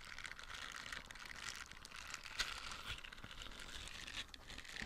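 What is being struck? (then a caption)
Silicone dish scrubber. A small light-blue silicone dish scrubber with soft nubs is held in the hand while fingernails scratch across the nubs and the scrubber is squeezed. This makes a steady, dense crinkly scratching that is mostly bright and high, full of tiny crackling clicks, with a few sharper ticks standing out, the clearest about midway through.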